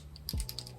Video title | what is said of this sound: GRWM while I talk about random stuff I plan on doing! ♡ | you can hear it when you shake it